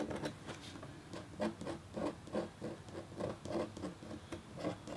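A red-handled, metal-tipped stylus makes fine scratching strokes across a flat, black-coated copper foil scratch art sheet with a hummingbird design. Quiet, soft rasping scrapes repeat in short, fairly regular bursts, each with a low-mid body and a brief high hiss that fades quickly.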